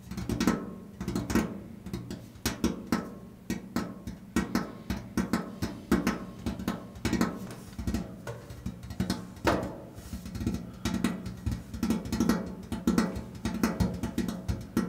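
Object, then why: Painted steel washing machine lid. Both hands tap with their fingertips on the large, flat, painted steel top of a washing machine lid, producing resonant, drum-like thuds. The taps come in quick, uneven bursts over about 15 seconds, with a low body around 220 Hz. Each tap dies away almost at once.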